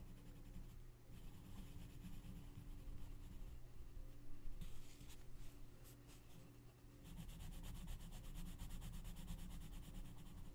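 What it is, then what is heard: Paper coloring book page being scratched by a pencil. A gloved hand colors a mandala in a large open paper coloring book lying flat on a checkered cloth, scratching and rubbing the page with the tip of a wooden colored pencil. The result is a quiet, continuous dry scratching and rubbing with bright, gritty strokes, which eases briefly before picking back up, over a steady faint low hum.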